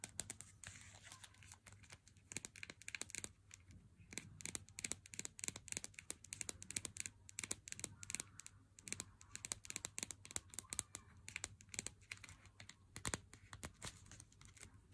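Fingernails tap the corner, the edge and the printed seal on the front of a Lindt chocolate bar's cardboard sleeve held up close. The result is a dense run of quick, dry, bright clicks and light scratchy crinkles that die away almost instantly, over a faint steady low hum.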